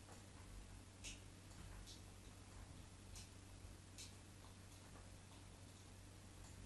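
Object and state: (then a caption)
Bar of soap being scored. A solid white bar of soap held in the hand has its surface scored again and again with the tip of a craft knife, making crisp, bright ticking scratches. The short scrapes come at irregular intervals over a quiet, steady low hum.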